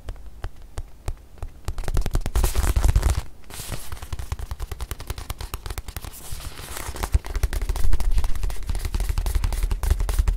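Long nails tap and scratch a small, stuffed white leather watch pillow with a curved slot, held close to the microphone. Rapid, irregular dry clicks and soft taps sit over a deep, boomy thump from the close contact, with denser scratching bursts that swell louder near the start and again toward the end.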